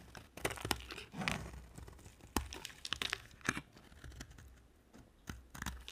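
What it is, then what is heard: Dry bar soap being carved. A utility knife blade carves a solid oval yellow bar of dry soap, letting shavings fall onto the table. Crisp, dry scraping and crunching cuts come in irregular bright bursts, each with a sharp attack and almost no ring, separated by quieter stretches of soft scratching.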